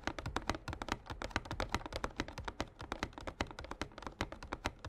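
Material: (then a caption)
Cardboard. Short fingernails and fingertips of both hands tap rapidly on a small printed glossy cardboard Yu-Gi-Oh structure deck box, hollow and filled with cards, standing upright on a playmat. The result is a fast, uneven patter of crisp, dry clicks with a soft hollow low thump beneath, each tap dying away almost at once.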